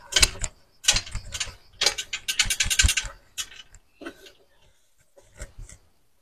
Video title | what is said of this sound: PRÉPA TURBO E36 320i (l'histoire des six pistons) #3 | je secoue ça fait du bruit